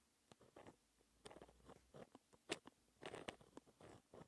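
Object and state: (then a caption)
Pen scratching on textured paper. A white gel pen held in the fingertips scratches across a flat sheet of black lined textured paper while writing math equations. Quiet, crisp pen-on-paper scratches come in short, irregular bursts with a bright, gritty edge. Each stroke stops almost at once.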